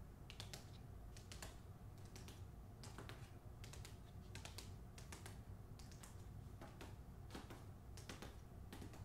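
Long acrylic nails tap the front cover of the closed, solid hardcover novel "The Hacienda", held upright in its glossy paper dust jacket. Quick, light, irregular clicking taps with bright, short ticks sit over a steady low hum, and the whole clip stays quiet.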